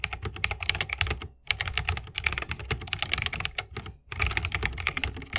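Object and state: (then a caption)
Mechanical keyboard with bamboo case and plastic keycaps. Continuous fingertip typing with both hands on a 60% mechanical keyboard with Holy Panda switches, a bamboo case and plastic keycaps. Rapid, bright, crisp clacks with a soft low thock beneath them run in bursts, broken by two brief pauses.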